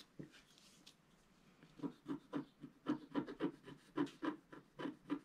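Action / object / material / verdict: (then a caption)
scrape / coated scratch paper scraped with a wooden stylus / coated paper / none. A wooden stylus held in the right hand scratches lines near the bottom right of a flat black coated scratch art paper sheet. After a faint scratch and a quiet pause, a quick, fairly regular run of about fourteen short, dry rasping strokes follows, each with a low-mid body and a brief bright edge.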